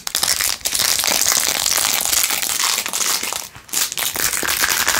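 Long nails scratch fast across the back and edges of a blue-jeweled, rhinestone-covered plastic phone case. The result is a dense, bright, crinkly crackle with no low end, broken by two brief pauses near 0.6 and 3.6 seconds.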